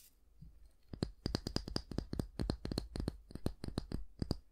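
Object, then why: Wooden back of a hair brush. Fingernails tap and scratch the solid wooden back of a small oval wooden bristle hair brush. After a soft scratch at the start, a rapid, irregular series of dry, sharp clicks follows, each with a bright top and a low knock, dying away almost instantly.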